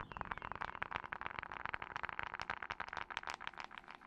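Long acrylic nails tap quickly on the dark glass screen of a glass and metal smartphone held in front of the microphone. The result is a rapid, uneven stream of sharp, bright clicks that stop short with almost no ring.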